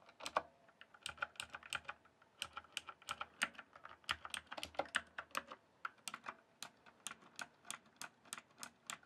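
Fingertips type on the keys of a full-size backlit plastic RGB computer keyboard, producing a quick, uneven run of short, sharp plastic clicks. The clicks are bright with almost no low end, come in dense bursts with brief pauses, and space out into steadier single taps toward the end.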